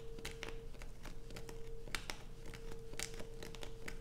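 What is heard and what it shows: Long nails scratch and scrape across the surface of a solid light-blue bar of soap that has holes dug into it. The result is quick, dry, crinkly scratches with bright, crisp edges over a low rumbling bed and a faint steady hum near 450 Hz.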